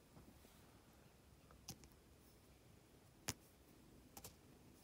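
A plastic drill pen with a metal tip presses and taps small solid faceted resin diamond painting drills one by one onto a flat, sticky adhesive canvas. A few sharp, bright clicks ring out sparsely over a quiet, low background hiss.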